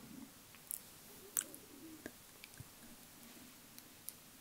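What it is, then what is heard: Glass dropper bottle. A small glass cosmetic bottle with a dropper cap, partly filled with beige foundation, is tapped delicately with long acrylic nails. Scattered light, sharp clicks with bright high-frequency ticks sound over a quiet background hiss, and each tap stops almost instantly with no ring.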